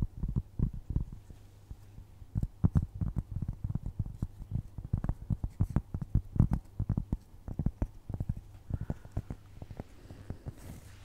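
Long nails tap and scratch the edge and face of a solid, round, flat cork trivet. The result is a rapid, irregular run of soft, dull, low thuds with almost no ring, and faint scratchy rustles between the taps over a steady low hum.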